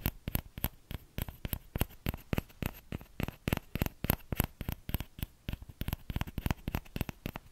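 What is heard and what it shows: Fingertips tap the edge of the hollow bowl of a small orange plastic ladle. The result is a quick, uneven run of about 39 short, dry taps, each with a soft low thump and a bright click that dies away almost instantly.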